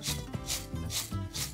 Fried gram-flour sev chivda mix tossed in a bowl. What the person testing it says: Can you hear that sound? How crispy it sounds.